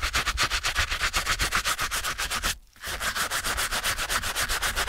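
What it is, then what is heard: Canvas shoe being scrubbed with a brush. A stiff-bristled brush scrubs the wet canvas toe of a TOMS Cloud slip-on shoe resting on a towel, rubbing the fabric upper. About 25 quick, bright, hissing back-and-forth strokes come in a steady rhythm, with a brief pause just before the three-second mark before the scrubbing resumes.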